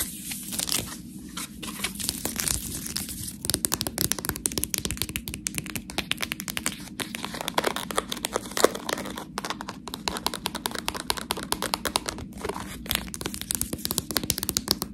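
Long manicured nails scratch and squeeze a sealed, clear plastic bag full of soft fresh cheese tortellini. The result is a dense, continuous stream of bright crinkling and crackling, with rapid sharp scratchy ticks over a low rustle.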